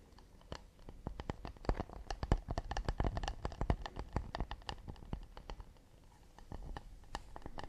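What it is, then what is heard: Acacia wood plate. A round, hollow, empty acacia wood plate is held in both hands and tapped with fingertips and nails on its underside and edge, partly raised above the frame. Rapid, irregular taps give short, dry, woody knocks with a low thump and brief bright clicks that die away almost at once. The taps peak in the middle and turn softer and sparser toward the end.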